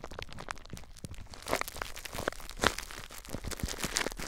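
Fingers grip and squeeze clear plastic bubble wrap wrapped tightly around a recorder, crinkling it. A steady, dense crinkle runs throughout with bright, sharp crackles, and a few louder snaps stand out near the middle.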